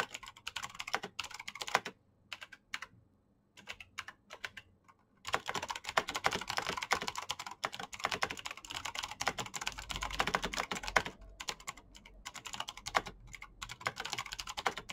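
Both hands type fast with their fingertips on a black plastic backlit mechanical keyboard with clicky switches, giving rapid, sharp, bright clicks that die away almost at once. Short bursts of typing break off into brief pauses near the start, then a steady flurry of keystrokes runs through to the end.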